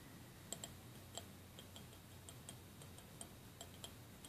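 A small clear glass cup with a printed label and a layer of white plastic beads on the bottom is held in both hands and tapped and clicked with fingernails on the outside of the glass. Eleven quiet, bright, glassy ticks sound at an uneven pace, each dying away almost at once over a low, steady background hum.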